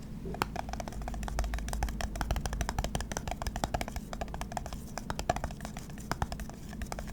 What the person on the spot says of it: That's a green lid on top of a glass jar. That was interesting.